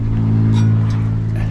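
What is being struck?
Nothing is struck.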